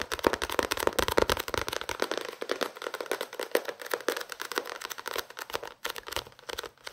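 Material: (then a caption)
Paper. A small paperback novel with a paper and card cover is held up and tapped and scratched with fingertips and nails. Quick, dense, papery taps and scratchy crackles run throughout with no ringing. The sound is light, dry and mid-pitched.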